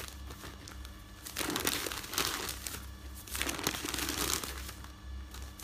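Fingertips with dark nail polish flip, rub and smooth the pages of a folded stack of thin printed newsprint resting on a bed. Quiet papery handling swells into two louder bursts of bright crinkling and rustling, over a steady low hum.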